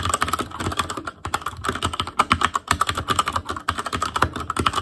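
Fingertips of both hands type rapidly on a full-size ASUS ROG Claymore Core mechanical keyboard with plastic keycaps on Cherry MX Red switches, a metal plate, a hollow case and RGB backlight. A dense stream of quick, clacky key taps with a hollow, midrange ring and crisp bright edges runs throughout, with brief lulls between bursts.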